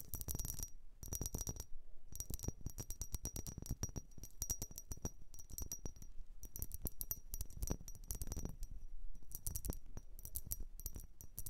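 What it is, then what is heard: Vase. A blue vase is tapped and scratched in quick bursts of rapid strokes with brief pauses between them. The result is bright, coin-like clinking with a thin high ring over a soft low thump, each hit dying away almost at once.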